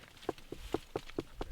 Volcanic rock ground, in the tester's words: I hope you can hear it it's Hollow it's a lava tunnel